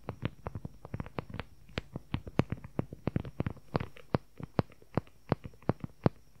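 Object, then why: Leather journal cover. Fingertips and nails tap and scratch rapidly on a closed dark brown leather journal cover with a flap and snap button, close to the microphone. The sound is a fast, irregular run of short, dry, low-weighted taps that stop almost instantly, with a faint constant high tone underneath.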